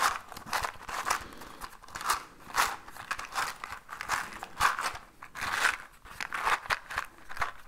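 A small orange cardboard matchbox with matches inside is held in one hand and shaken. Dry rattling bursts of matches sliding and clicking inside the box come in uneven pulses, with a bright, papery crackle centered around 1 kHz.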